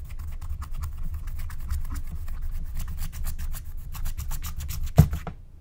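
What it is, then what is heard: Scratch-art coated paper sheet. A wooden stylus scratches and rubs the coating off a thin, black-coated scratch-art card lying flat. Quick, repeated dry scratching strokes run over a steady low rumble. A sharper scrape near the end is followed by a fade to quiet.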